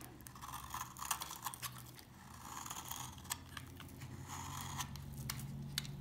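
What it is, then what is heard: Old, dry laundry soap bar being carved. A knife carves and scrapes curls off an old, dry, solid tan-brown bar of laundry soap held in the hand. It makes a run of crunchy, crackling scrapes with bright, sharp clicks over a low steady hum.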